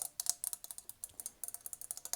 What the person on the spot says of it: A little horse I'm going to tap on for you. It's metal.